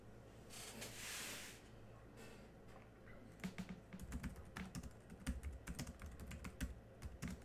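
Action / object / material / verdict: tap / plastic laptop keyboard / plastic / none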